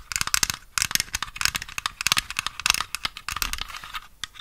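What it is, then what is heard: Miniature plastic toy piano. A small, hollow white plastic toy piano with a paper sheet-music stand is handled close up and tapped with long nails. The result is a rapid, uneven run of crisp, bright clicks and light scratchy taps that stop dead with almost no ring.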